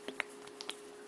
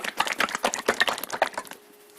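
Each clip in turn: First: A shaken plastic oil bottle gives only a few faint high clicks and no slosh, as thick oil barely moves. Second: A quick run of soft, wet splashes as a plastic bottle of thin motor oil sloshes freely when shaken.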